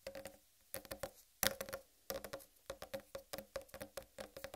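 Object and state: Whole watermelon.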